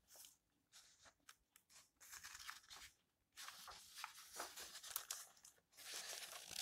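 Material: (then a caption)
Paper. Fingertips and nails stroke the yellowed paper pages of an open old book, then lift and turn them. The result is quiet, bright, dry rustling and swishing in short bursts, with brief silences between longer papery sweeps.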